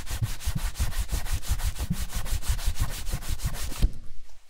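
A cloth strip is buffed briskly back and forth across the toe of a worn black leather ankle boot, then hands rub the side of the boot. The rapid, steady swishing strokes of smooth leather rubbing carry a low, dull thump under a soft airy hiss. The rubbing stops abruptly near the end and leaves only faint quiet.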